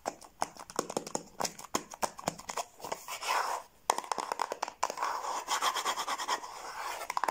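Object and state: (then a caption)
Cardboard gift box. Long blue nails tap and scratch the lid and sides of a small, closed, hollow yellow cardboard gift box with a lid, held in the hands. Quick, dry, hollow clicks come in rapid bursts, mixed with longer scratchy rasps. The sound is bright and papery, with almost no low end.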